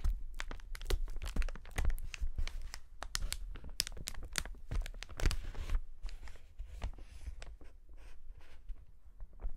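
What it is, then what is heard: Plastic air cushion packaging sheet. A clear polyethylene air cushion packaging sheet is held close to the lens and pinched and rubbed by gloved fingertips. It makes dense, irregular crinkling with sharp bright crackles over a deep, low handling rumble. The crinkling is busiest and loudest in the first six seconds, then thins to softer rustling.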